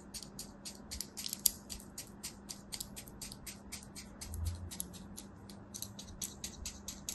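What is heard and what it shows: A thin knife blade scores a solid beige mound of kinetic sand resting on the palm in a crosshatch pattern, slicing and scratching across its surface. Around thirty quick, dry, bright scratches follow one another in an even rhythm, each stopping dead with no ring, over a faint steady low hum. The whole clip stays quiet and crisp.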